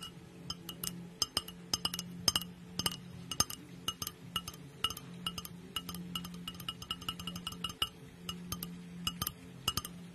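Long nails tap and clink on the sides of a small, clear glass mug with a handle and a lid, held in one hand close to the microphone and apparently empty. Quick, irregular clicks each give a short, bright glassy ping over a steady low hum.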